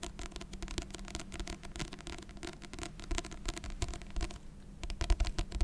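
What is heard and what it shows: Fingers tap continuously on a paper book of Beethoven piano sonatas, giving a stream of soft, dull, short taps with little ring. The sound sits mostly low with only faint brightness, with a few firmer taps near the end.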